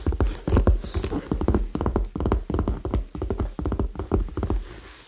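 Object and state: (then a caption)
Faux leather handbag. A medium red structured faux leather handbag, hollow and held upright, has its side tapped and scratched with fingernails and fingertips. Quick, dull, low-pitched taps come in rapid bursts with a faint scratching texture between them.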